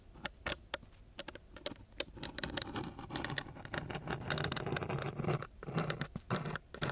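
A thin wooden stick scratches back and forth across the gritty surface of a coarse brown sandpaper sheet. Irregular, rasping scrapes come in quick bursts, each a dry, bright hiss over a soft low rumble, with short pauses between strokes.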